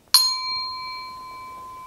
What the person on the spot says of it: Ça fait un bruit très aigu qui raisonne très longtemps.